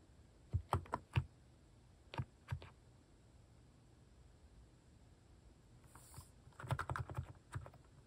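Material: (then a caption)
Plastic. Fingertips type on a white-case Hanmumu mechanical keyboard fitted with pastel plastic cat-shaped keycaps. Quick bursts of soft, low, dull clacks come in short clusters separated by quiet pauses. Each keystroke stops dead with almost no ring.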